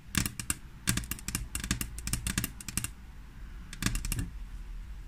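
Long natural-colored fingernails of both hands tap and scratch a flat, solid frosted glass tabletop. Quick bursts of bright, sharp clicks come in rapid clusters, pausing briefly before a final flurry, over a steady low hum.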